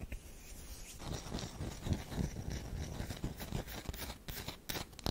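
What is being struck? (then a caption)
Solid bar of soap. Long nails scratch the face and edge of a solid oval tan DURU bar soap with an embossed logo. Soft, uneven scraping runs throughout, with low, dull rasping and brief brighter scratches near the end.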